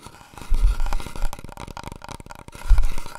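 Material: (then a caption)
Cardboard. Long nails and fingertips tap fast on a large, long, hollow brown cardboard paper roll tube held diagonally and then horizontally. The result is a rapid flurry of soft, hollow, low thuds resonating around 59 Hz, with two louder bursts in an otherwise steady patter.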